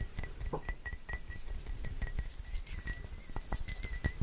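A small hollow glass bottle with a black cap, likely a perfume or cologne bottle, is held between the fingers and tapped with fingertips and nails. The result is a rapid string of quiet, glassy clinks with a faint bright ringing tone and soft low thumps underneath.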